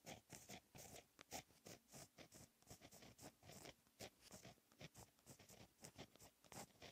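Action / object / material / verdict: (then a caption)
scrape / gel pen on paper notebook page / paper / none. A fine-tip gel pen held in the fingers writes Korean cursive in blue ink on a lined black paper notebook page lying flat on a solid surface. The quiet, bright scratching of the pen tip comes in a rapid, continuous series of short strokes with brief pauses between them.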